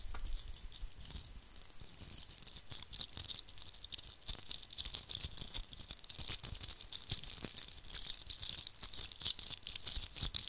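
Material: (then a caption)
Glitter. A hand-sized, likely hollow red glitter-coated Christmas ball ornament is held in both hands and scratched and rubbed with fingertips and nails over its rough glitter surface. The result is a steady, dense stream of bright, crisp scratching and crackling, with many quick, tiny scrapes and little low-end weight.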